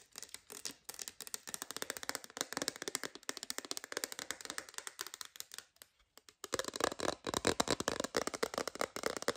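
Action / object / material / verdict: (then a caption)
tap / hard plastic phone case / hard plastic / none. An empty, transparent hard plastic phone case shell is held in the hands and tapped rapidly with long green nails. The taps are quick, dry, bright clicks with almost no ring, forming a steady stream that pauses briefly around six seconds and then resumes louder.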